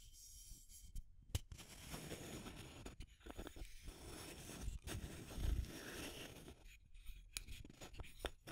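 A small clear plastic tube container with an aluminum screw lid is tapped and scratched with long nails on both the lid and the tube body. Quiet, close scratching and scraping runs throughout, broken by sharp, bright taps that die away quickly.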